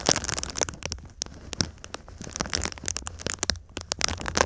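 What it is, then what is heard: Foil-faced foam insulation sheet. A silver foil-faced foam insulation sheet, held up in a V shape, is scratched and rubbed across its foil surface with fingertips and nails. Dense, bright crackling and crinkling comes in quick irregular bursts of sharp ticks and scrapes with almost no ring. A faint low hum sits underneath.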